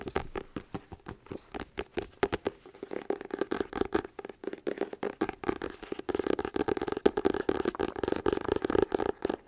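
A dense run of fast, papery ticks and scratchy strokes sits in a mid register with a faint hum of body around 400 Hz. None of it rings; the soft paper cover and packed pages deaden every tap at once.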